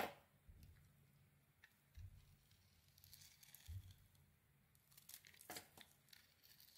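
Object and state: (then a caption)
Bar of soap being carved. A metal blade scrapes a solid rectangular white soap bar with a gold glitter coating, held in the hand. Quiet, crinkly rasps and bright scraping bursts come in irregular strokes, with soft low thuds now and then.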